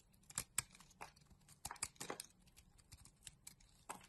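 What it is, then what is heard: Bar soap being shaved with a blade. A utility knife blade scrapes curls off a solid rectangular magenta bar of soap held in a hand with long nails. Each quiet, bright stroke is a short, dry scratch or crackle that stops almost at once, with soft rustling between the sharper scrapes.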